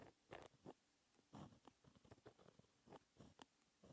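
A fine-tipped pen with white ink, held by the fingertips, writes a math formula in small strokes on a flat, thin sheet of black textured paper resting on a solid desk. It makes quiet, dry scratching bursts with a few heavier strokes and clusters of short, light ticks between them, each fading quickly.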